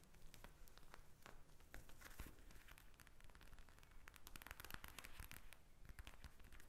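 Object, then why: Soft plastic eye mask filled with gel beads. Long nails tap and scratch a pink eye mask made of soft plastic filled with small gel beads, lying flat on a table. A dense run of quick, dry crackling taps and scratchy rustles goes on throughout, each tick dying away at once over a low, steady hum.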